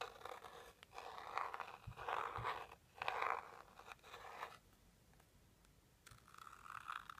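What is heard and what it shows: A small, hollow, teal rigid cardboard jewelry box is scratched on its front with a white pointed stick, then turned to its side edge and scratched there. The result is soft, dry scraping strokes in bursts, with a brief quiet gap before the scratching on the edge begins.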